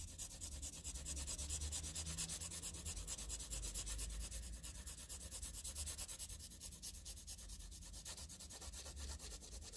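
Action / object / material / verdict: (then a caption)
scrape / graphite pencil on paper sheet / paper / none. A green wooden pencil rubs and scratches across a flat sheet of graph paper covered in graphite shading, using fast strokes. The result is a quiet, continuous scratchy rubbing with a rapid, fairly steady rhythm, a bright papery hiss on top and a low rumble underneath.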